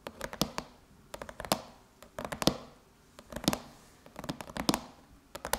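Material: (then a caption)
Aluminum. Long chrome nails scratch and tap across the closed silver aluminum lid of a MacBook. Quick, crisp clicks and scrapes come in short bursts with brief pauses between, each dying away almost at once. The sound is bright and metallic, with a light body near the low mids.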